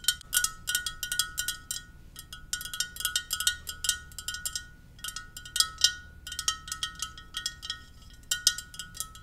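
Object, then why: Ceramic mug. A Darth Vader ceramic mug is tapped gently in quick, irregular bursts. Each light tap gives a bright, clicky hit with a faint ringing tone, and the sound carries almost no low end.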